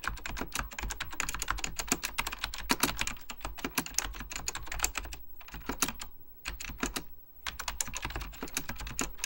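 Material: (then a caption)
Plastic. Fingertips with short nails type rapidly on an Apple Extended Keyboard II, a plastic mechanical computer keyboard with beige plastic keycaps and a hollow plastic case. A dense run of sharp, bright key taps clatters over a low thump, with two brief pauses near the end before the typing resumes.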